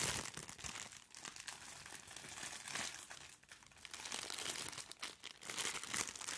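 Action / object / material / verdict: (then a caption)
scrape / soft plastic-wrapped package / plastic film / none. A white, medium-sized, soft plastic-wrapped package is held close to the microphone and squeezed and crinkled by hands in disposable gloves. The result is a dense, bright crackling crinkle with almost no low end, running continuously with louder bursts and brief dips over about six seconds.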